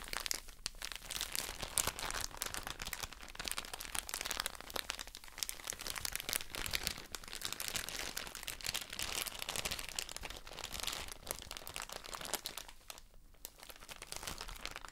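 A soft plastic drawstring bag full of cotton wool pads is crinkled with long nails and fingertips. Dense, bright crinkling and crackling goes on throughout with many quick, dry clicks and little low end. Short pauses come near the start, around five seconds, and around thirteen seconds.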